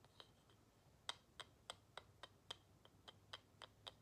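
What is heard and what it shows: Long nails tap and scratch the flat back of a carved wooden plaque, a small solid wooden tile held in one hand. About 12 quiet, crisp, bright clicks land in a steady rhythm, each dying away almost instantly with no ring.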